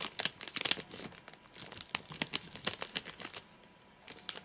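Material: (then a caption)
Plastic. Fingertips and nails tap and scratch the top of a full, flat rectangular nougat bar in a crinkly plastic wrapper. Quick, bright crinkling taps and scratchy rustles come in bursts, sitting mostly in the high range with almost no low end. After a short near-silent pause, a few last taps close the clip.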